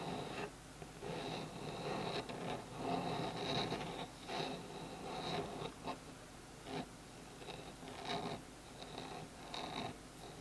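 Fingertips and nails scratch along the wood grain of a small, solid bamboo phone stand lying on a table. Soft, dry rasping strokes come in uneven bursts, with a bright, hissy edge over a low, steady background hum.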